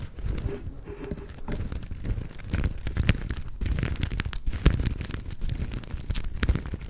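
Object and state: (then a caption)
Sequin-covered fabric star. A palm-sized, soft star-shaped plush covered in black and gold flip sequins is held in both hands and scratched with long nails. The result is a steady, dense run of scratchy crinkling and rapid ticking clicks, with the sound weighted toward a soft, low rustle.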